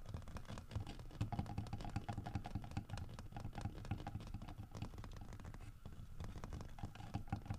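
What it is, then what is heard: Carved wooden bear figurine. Fingernails tap and scratch rapidly across the grooved, carved back of a large solid carved wooden bear figurine. The result is a dense, continuous patter of short, dull, low woody knocks mixed with scratchy rasping, each knock dying away almost instantly.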